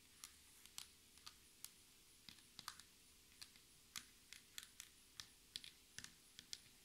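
Long red nails and the fingertips of both hands tap at a slow, uneven pace on a flat, solid black textured tabletop that looks like laminated board. About twenty short, quiet, bright clicks sound, each dying away almost at once over a low, steady background hum.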